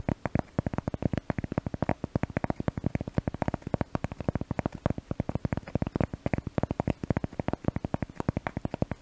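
A cork object is tapped rapidly and steadily to test a new microphone, producing a dense run of short, dry, low-pitched taps. Each tap is a soft knock with almost no ring and little high content.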